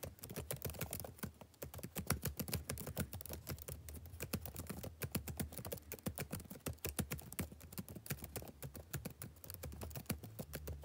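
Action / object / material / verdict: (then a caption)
tap / plastic laptop keyboard / plastic / none. Fingertips type quickly on a black plastic backlit laptop keyboard, producing a dense, steady stream of short, dry key clicks with a soft low thump beneath each press. The keystrokes run close together without pause for the whole clip, and the sound stays fairly quiet throughout.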